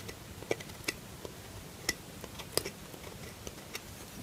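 A metal knife shaves a solid lilac bar of soap, with the curls falling onto a cloth. Short, crisp, bright clicks and scrapes come at irregular intervals over a quiet hiss, each dying away almost instantly.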